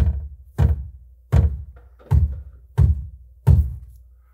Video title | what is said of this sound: Türdämmung - krasser Trick beim VW T7! | hier hängt einfach das Kabel am Blech und sobald der Woofer läuft, fängt alles wieder an zu klappern an